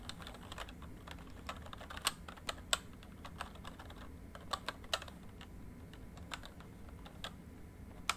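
Fingertips type on a full-size plastic MSI backlit membrane keyboard, producing irregular, quick, bright key taps that die away almost instantly, a few standing out louder than the rest. A faint, steady low rumble sits underneath the taps.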